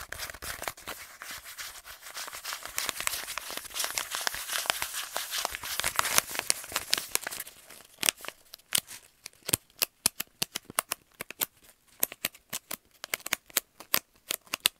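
An empty, hand-sized, hollow kraft paper stand-up pouch, held close to the chest, is squeezed, crinkled and scratched with fingertips and nails. For the first seven seconds or so, dense bright crinkling builds into a busy, papery rustle. It then gives way to sparser, sharp scratches and clicks separated by short silences.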